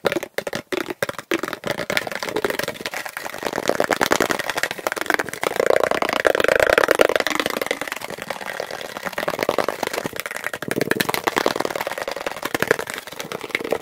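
A plastic object is tapped quickly and continuously, played back at double speed. The taps are dry, short clicks that start sparse and separated, then blur into a dense, rattling midrange patter. They swell louder around the middle before easing off slightly.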